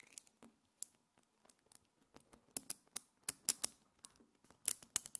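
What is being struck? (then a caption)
Small metal magnetic spheres. A handful of small, multicolored solid metal magnetic spheres is pulled into a chain by fingers with long nails, then snapped back into a clump. The spheres give a quick, irregular string of sharp, bright clicks with almost no low end and no ring. The clicks are quiet at first and grow louder and denser toward the end.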